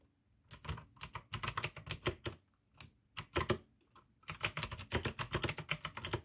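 Fingertips type fast on the keycaps of a full-size pink plastic AUKEY mechanical gaming keyboard with RGB backlight, clicky blue switches and a hollow case. Quick bursts of bright, sharp clicks with a low hollow clack under each keystroke come in short runs separated by brief pauses, ending in a longer steady run of typing.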